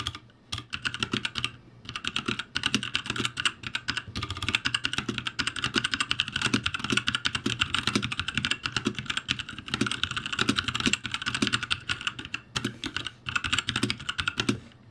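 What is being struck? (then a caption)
Mechanical keyboard with plastic keycaps. Fingertips type quickly and densely on the letter keys of a backlit ROCCAT G65 mechanical keyboard with plastic keycaps. The result is a fast, continuous stream of short, bright, clacky keystrokes with only brief pauses, over a faint steady low hum.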